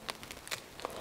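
Several quick, dry knocks on the crust of a freshly baked wheat, spelt and rye loaf, turned out of a covered stoneware baker onto a cooling rack. Each knock is a short, crisp, hollow tap with almost no ring, a crispness test showing the crust sounds just right and fully baked.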